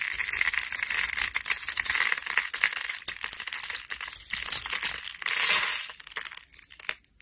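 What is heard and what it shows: A metal blade scrapes across a solid light green bar of dry soap with embossed text, scored in a grid and held by fingertips, shaving off crumbly bits. A dense, bright crunching and crackling runs steadily with rapid gritty ticks, then thins out into a few scattered crumbles before fading near the end.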